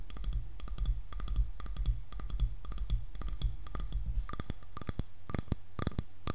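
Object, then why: Wooden hairbrush back tapped with fingernails. Long nails tap on the back of a light, solid wooden hairbrush. The taps are quick, dry, sharp clicks with bright tops and almost no ring, falling in an uneven rhythm over a steady low hum.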